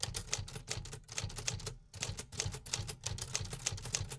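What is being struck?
Metal typewriter.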